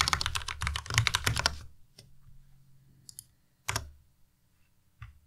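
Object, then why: Plastic mechanical keyboard. A white tenkeyless Ducky Miya Pro mechanical keyboard with plastic keycaps and RGB backlight is typed on with the fingertips of both hands. A quick burst of bright, clacky keystrokes with a low thock underneath lasts about a second and a half. It thins into scattered single clicks, with one louder clack near the middle and a final tap at the end.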